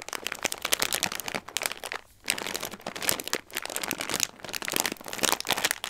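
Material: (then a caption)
Plastic. A clear plastic bag full of dry tricolore Christmas-shaped pasta with a cardboard header, resting on a dark tray, is pressed, rubbed and scratched by fingertips with long red nails. Dense, bright crinkling and crisp crunching rustle through the clip in bursts, with brief quiet gaps around the two- and four-second marks and almost no low end.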